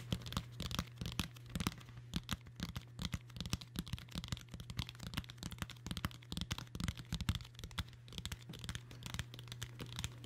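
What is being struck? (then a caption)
Hardcover book with cloth-covered boards. Long nails scratch and tap the dark blue cloth-covered board of a large hardcover book held in both hands. The result is a quick, dense run of short, dry taps and scratchy rasps with bright, crisp edges, over a steady low hum throughout.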